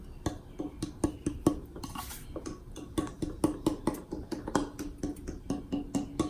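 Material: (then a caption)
Black locust. A longer piece of black locust tonewood board is tapped repeatedly to show its tap tone. Each tap gives a short, bell-like ring around 290 Hz over a low knocking thud. The dense board has a higher-pitched tone and is preferred over maple or walnut for how it sounds.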